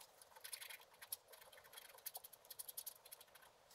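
A wooden stylus scrapes the black coating off a flat scratch-art paper card lying on a table, working near its bottom edge. A quiet, rapid series of short, dry, bright scratching strokes with no low end, each dying away almost instantly.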